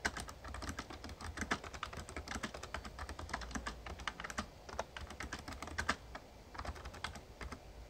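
Fingertips type steadily on a full-size, backlit plastic Razer Ornata Chroma mechamembrane gaming keyboard. Quick, crisp keystroke clicks come in a dense, uneven stream, with sharp, bright ticks that die away almost instantly over a faint low hum.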